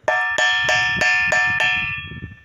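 A ringing bell stone on a rock outcrop in the Brazilian caatinga, one of a series of stones that each sound different, is struck six times in steady succession. Each hit gives a bright, cowbell-like metallic tone centered near 1.8 kHz, with the ring fading out after the last strike.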